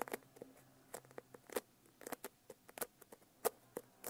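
Long nails tap a medium hardcover notebook with an iridescent holographic foil cover, then tap along its spine and edge. About eighteen quick, light, dry clicks come in an uneven patter, each crisp and sharp with almost no ring, all at a quiet level.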